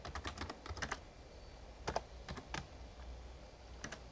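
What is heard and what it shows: Fingertips type on the plastic keys of a full-size backlit Razer Ornata Chroma plastic membrane gaming keyboard with a hollow case. A quick burst of soft, short clicks gives way to scattered keystrokes with pauses. Each stroke is a dull tap with a bright edge that dies away almost instantly.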